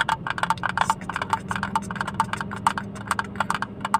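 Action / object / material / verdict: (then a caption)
tap / small plastic hinged case / plastic / none. Fingertips and nails tap rapidly on a small, hollow blue plastic hinged case, opened and empty and held close to the mic. The short, dry clicks have a hollow ring around 900 Hz, over a faint steady low hum.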